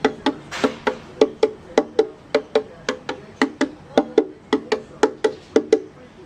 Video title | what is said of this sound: 09 Project Violin Part 2 Sanding Day 2 | when you tap it, the sound's consistent. So I know I've done the right thing. I haven't changed that sound.